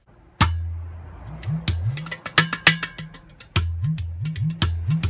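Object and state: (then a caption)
Ceramic udu clay drum. A hollow, empty ceramic udu clay pot drum held in the lap is tapped rapidly on its body and near the side hole with fingers and palm in a rhythmic pattern. Deep, booming low tones bend upward in pitch between sharp, bright finger taps, making a resonant, bubbling groove.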